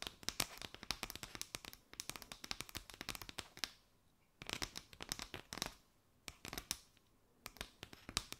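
Long nails scratch and tap a mat of chevron-patterned paper straws draped over the microphone. Quick, bright, papery clicks and crinkly scratches come in dense bursts, with short quiet gaps near 4 and 6 seconds.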